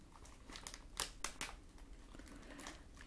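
A small pink-and-white printed plastic snack bag with a barcode, filled with product, is held in the hand and squeezed by fingers with long nails. It gives off quiet, irregular crinkling with bright, crackly bursts, the sharpest around the one-second mark, over a soft steady background.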